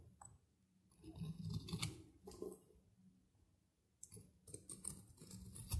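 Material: Soap.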